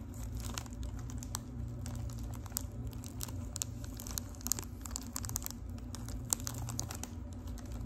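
Long pink acrylic nails tap and scratch the crinkly gold foil wrapping of a boxy, hollow Lipton tea package held close up. A rapid, irregular stream of sharp crinkling clicks and scratches plays over a steady low hum.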